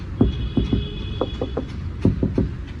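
A knuckle knocks repeatedly on a steel structural part of a 2023-24 Maruti Swift VXI's body, producing short, dull, low thuds with almost no ring over a steady low background hum. The deep, damped sound marks the body structure as solid and heavy, unlike the lighter outer panels.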